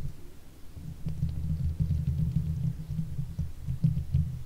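Long fake nails on both hands scratch the hollow steel mesh grille of a silver Blue Yeti microphone. The scratching comes through as a deep, muffled rumble with irregular soft thumps and brief faint high ticks, swelling louder after the first second and holding steady.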